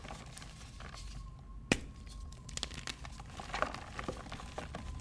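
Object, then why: Block of gym chalk (magnesium carbonate). A hand-sized pink-and-white solid gym chalk block of magnesium carbonate, broken into pieces over a blue plastic tub with other chalk blocks beside it, is squeezed, crumbled and rubbed apart by fingertips with short dark-painted nails, releasing powder. Soft, irregular crunches and gritty crumbling sound quietly throughout, with one sharper snap early on and a faint steady tone underneath.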